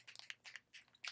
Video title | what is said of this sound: Lisa Eldridge Secrets - Your Best Skin, Perfect Lips - Seamless Skin Enhancing Tint - Sculpt & Shade | you can hear there are little balls in there to make sure that the skin care and The Tint mixed together